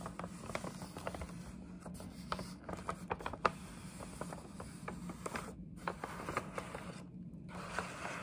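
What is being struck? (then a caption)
Paper gift bag. Long nails scratch the panel and scalloped top edge of a hollow, printed paper gift bag. Quick, dry scratching and crinkling strokes come one after another, with brief bright ticks and a few sharper peaks over a steady low hum. The overall sound stays quiet and soft.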